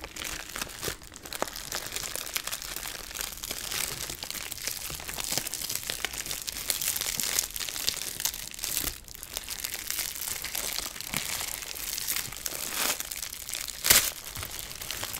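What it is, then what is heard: Plastic bag of jewelry. Long pink-nailed fingertips crinkle and scrunch a small clear plastic bag of colorful costume jewelry held in both hands while opening it, beside a larger bag of jewelry sitting still. A steady, bright, dense crackling runs throughout, with a sharp louder crinkle near the end and possibly faint clinks from the jewelry inside.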